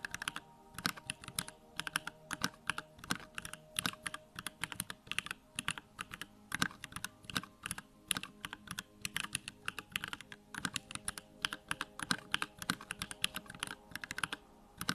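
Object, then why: Plastic mechanical keyboard. Fingertips type rapidly on a Bakeneko65, a small 65% mechanical keyboard with a plastic case, pink-white plastic keycaps and Durock lavender switches, resting on a wooden desk. A steady stream of short, bright clacks rises and falls in irregular bursts, with each keystroke dying away almost instantly.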